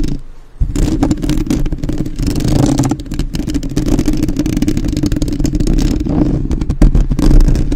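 Long acrylic nails and fingertips of both hands rapidly tap and scratch the hollow metal mesh grille of a black, uncovered USB microphone held up close. After a brief quiet start, a dense, continuous stream of boomy low thumps and rough scratching clatter fills the clip, heavy in the low end with little brightness.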